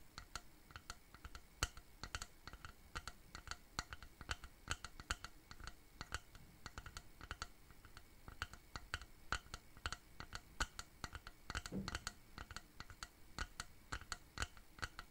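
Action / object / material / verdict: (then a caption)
tap / wooden box frame / wood / none. A medium-sized, hollow, rectangular wooden shadow box frame is tapped and scratched with fingertips and nails. The result is a quiet, steady stream of quick, dry, bright clicks with almost no ring, over soft scratching, with a brief low thud near the twelve-second mark.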